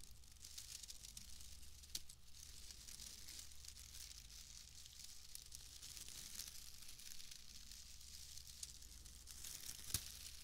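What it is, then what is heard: Bundle of wood wool shreds. A pale bundle of wood wool shreds is squeezed and crinkled with fingers close to the microphone, giving a steady, dry, bright crackling and rustling with a few sharper snaps. A constant low hum sits underneath the whole clip.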